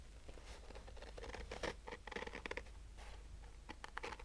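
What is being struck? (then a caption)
Fabric-covered hard-shell sunglasses case, nylon mesh over a rigid shell. Fingernails slowly scratch the woven fabric top of a hollow, black Polaroid-branded hard-shell sunglasses case covered in nylon mesh. The result is a quiet series of short, dry rasping strokes with a soft, hollow texture, some brighter and more pronounced than others, over a low background hum.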